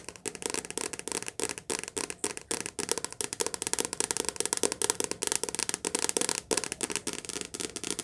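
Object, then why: Softcover paperback book with glossy cover. A softcover paperback book held upright in both hands has its glossy cover tapped fast with long nails. The result is a rapid, continuous string of crisp, bright clicks with almost no low end, each dying away almost instantly, broken by a few brief pauses.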